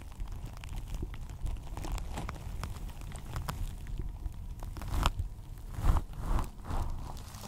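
Long acrylic nails on both hands scratch a synthetic plastic turf cover fitted over a microphone, producing dense crinkly, crackling rustles over a heavy low rumble. Several louder crunchy swells rise toward the end.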